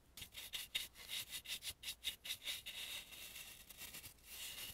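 A dry bristle brush is rubbed around the mouth and nose carvings of an antique painted, carved wooden mask held in the hand. Quick, bright, hissy scratching strokes come in a rapid run of about eleven distinct swipes, then blur into steadier, softer rubbing with almost no low end.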